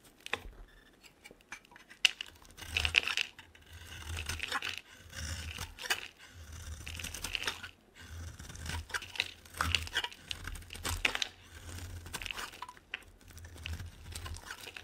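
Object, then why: Bar of soap cut with a metal blade. A metal utility blade carves curls off a solid pink bar of soap with an embossed logo, held in the hand. Repeated crisp, scraping strokes give a dry, crackly, bright shaving sound with brief crunchy peaks and short pauses between cuts.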